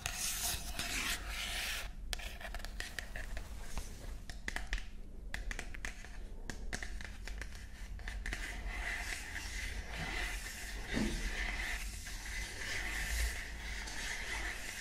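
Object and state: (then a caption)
Cardboard gift box. Long nails scratch and rub the printed surface of a small, hollow, rectangular cardboard gift box with a pink floral print, held in the hands. The result is a steady, dense texture of dry scraping and crackly rubbing with bright, hissy detail over a low, constant hum.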